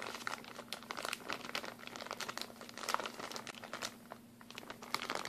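A thin, empty, hand-sized plastic packaging bag, clear with blue print, is held in both hands and crumpled and crinkled with the fingers. Dense, bright crackles and crinkles come in quick irregular bursts, with a brief quieter stretch near the end, over a faint steady low hum.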